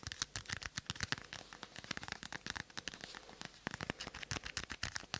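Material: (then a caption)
Plastic. A small glossy green plastic ball, held in one hand in front of a binaural mic, is tapped and scratched with long manicured nails. About 32 quick, dry, bright clicks and scratchy taps follow one another in an uneven rhythm, each dying away almost at once.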